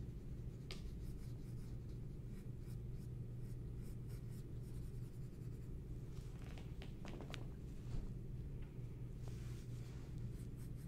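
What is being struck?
Pencil on a sheet of drawing paper.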